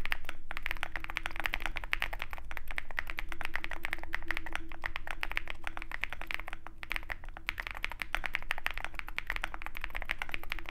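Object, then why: Mechanical keyboard with aluminum case and plastic keycaps. A compact 65% Zoom65 mechanical keyboard in a dark aluminum case with white and pink plastic keycaps is typed on rapidly by both hands' fingertips. A dense, steady stream of short, sharp clacky keystrokes with a bright edge runs over a low, full-bodied undertone, each click dying away almost instantly.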